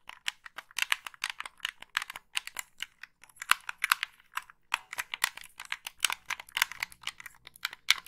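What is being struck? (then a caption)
Plastic game controller buttons and shell. Long pink nails tap and click the buttons of a black, hand-sized, hollow plastic Xbox-style gamepad held in both hands close to the mic, and scratch along its plastic shell. About 34 sharp, dry clicks come in an uneven rapid stream, bright and with almost no low end. Each click dies away instantly.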